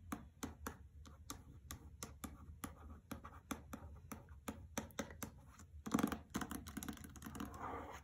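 Fingernails tap and scratch across the front cover of a hardcover copy of "The Trespasser" in a paper dust jacket, resting on carpet. A steady run of light, dry taps gives way, near the end, to denser scratching with a rougher, brighter texture.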